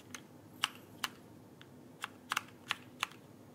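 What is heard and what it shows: Fingertips press and tap the plastic keycaps of a backlit mechanical keyboard held vertically close to the microphone. Seven sharp, bright clicks come at an uneven pace, two of them in quick succession, each dying away almost instantly over a soft, steady hiss.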